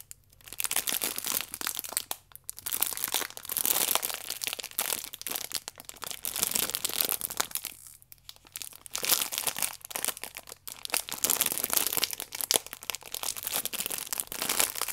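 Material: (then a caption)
Plastic film. A stack of yeast sachets wrapped in clear plastic film is turned in the hands while nails scratch and squeeze the film. The result is dense, bright crinkling and crackling with short quiet pauses.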